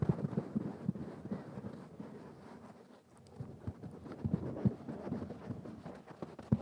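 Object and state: Velvet cushion being scratched.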